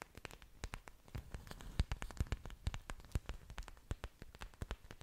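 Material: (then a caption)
Plant leaf. Long dark nails scratch and tap the thick, waxy surfaces of an orchid plant's several large green leaves, with its aerial roots exposed, held close to the microphone. A quiet, irregular run of short, sharp clicks and taps sounds over a soft scratching rustle, each tap dying away at once with a dull low thump beneath a bright tick.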